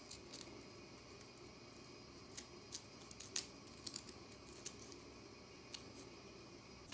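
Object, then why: Compressed powder bath bomb. Long nails scratch a solid, shrinking pink-and-white compressed powder bath bomb, making about 14 short, bright, crisp scratches and flicks over a quiet, steady hiss. The bath bomb crumbles as it is scraped.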